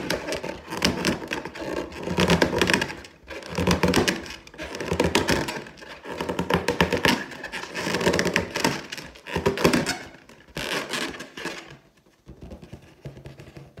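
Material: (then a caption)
Latex. Long teal nails on both hands scratch and tap across an inflated, air-filled clear latex balloon printed with gold pineapples. Dense bursts of rubbery scratching and quick taps swell and fade in waves, with a hollow resonance and a bright, squeaky edge. The sound thins out and quiets near the end.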